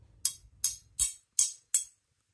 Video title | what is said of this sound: Wakizashi japonais de 400 ans !! - Review | ça doit ça doit raisonner légèrement